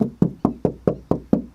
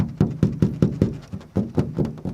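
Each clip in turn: First: Eight quick, even knocks, low and dull near 170 Hz, dying almost at once: a stiff, sturdy hardtop panel. Second: About ten quick knuckle taps give low, boomy thuds that die at once: a thin, hollow fiberglass hardtop.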